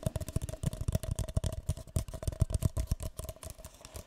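A single empty, hollow, light green paper cup is held in both hands while fingertips and nails tap and scratch its side and rim. The result is a quick, uneven stream of soft, dull, hollow taps with a low thump around 110 Hz, a faint papery resonance in the mid range, and light scratchy high texture between the taps.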